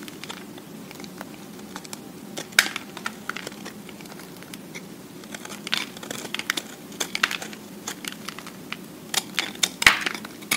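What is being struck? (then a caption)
Solid soap block. A utility-knife blade scrapes the top of a solid recycled soap cube held in the hand, shaving off fine soap flakes. Dry, crinkly scratching comes in irregular bursts of sharp, bright ticks and crackles, with the loudest snaps near the start and end, over a faint steady low hum.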